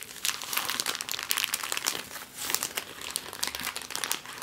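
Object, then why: Thin clear plastic bag. An empty clear plastic bag is crumpled and smoothed on a table, then lifted and crinkled by hand. The result is a steady stream of dense, bright crackles and rustles with almost no low end. Each crackle is short and sharp, with no ring after it.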